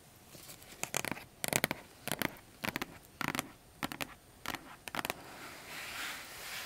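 Long acrylic nails tap and scratch across the lid of a large, flat, closed printed cardboard keyboard box. The sound comes in quick, dry clusters of crisp, bright scratchy clicks with almost no ring, separated by short pauses. It fades into a soft, airy hiss at the end.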